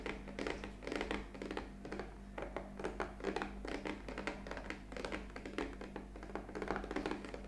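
Long fingernails tap quickly and unevenly on the top edge of an upright, hollow, black printed cardboard coffee capsule box. The result is a steady stream of short, dry, papery clicks and soft thunks over a faint, constant hum near 200 Hz.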